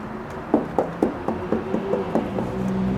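Blistered plaster on the floor of a drained pool is tapped in a steady series of short, hollow knocks with a low resonant tone. The hollow sound shows the plaster has delaminated and formed a bubble.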